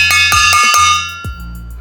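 A stainless steel bowl is tapped repeatedly with a spoon to show its normal sound before a soft-gel shooting test. Each tap produces a bright, bell-like metallic ring centered near 1.2 kHz, with many sustained high overtones that overlap and slowly fade. A faint low tone runs underneath.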